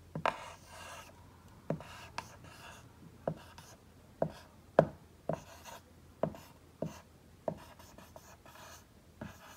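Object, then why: Dry-erase marker on a whiteboard. A green dry-erase marker writes "Merry Christmas" on a large flat whiteboard with a tree drawn on it. Short rubbing and scratching strokes come in quick bursts, each starting with a sharp tap of the tip and trailing into a brief bright squeak. About twelve distinct strokes are heard in a quiet space.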